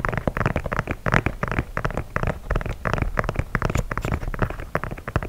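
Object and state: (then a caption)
Leather sneaker scratched and tapped. Fingertips and nails scratch and tap the leather toe and side of an empty white leather sneaker held vertically. The result is a dense, rapid run of short, dry taps and scratchy rustles, mostly low and thumpy with little brightness, each dying away almost instantly.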